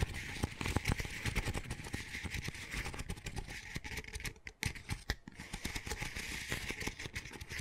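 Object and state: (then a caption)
Paper coffee cup. Fingers and nails scratch and tap the outside wall of an empty, small, hollow double-wall paper coffee cup with a textured dotted sleeve, held in the hands. A dense, crackling rasp runs throughout, studded with sharp dry taps, low hollow thumps and a bright scratchy hiss. The sound briefly thins out midway before the scratching resumes.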